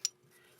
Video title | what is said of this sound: BUYER BEWARE! Dominican AP Yellow Tips - .50BMG Series | If you hear that, that's the sound of the core and the jacket hitting up against each other, which is a very bad sign.